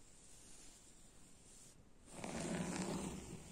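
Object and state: Woven fabric sofa upholstery being scratched.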